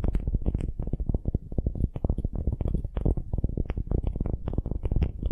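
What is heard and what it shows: Long glittery nails scratch a solid wooden ball held in both hands. The sound is a dense run of quick, dry, deep scratching strokes with short brighter clicks mixed in, each stroke dying away almost at once.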